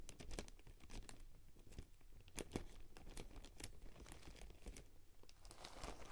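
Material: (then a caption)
Salt. A spoon is stirred and scraped through a clear glass bowl full of coarse salt, with a hand partly at the rim. It makes a quiet, dense stream of gritty crunching and crinkling ticks, with a few sharper, brighter clicks standing out. The scraping continues steadily throughout.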